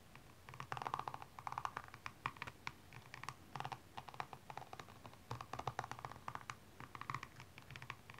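A slim metallic pink-blue tool is scratched along the rhinestone-covered side of a single blue stiletto standing upright, while the other hand steadies the shoe. The result is a quiet, steady run of short, dry scratching and clicking bursts with a gritty midrange tone and a faint low rumble beneath.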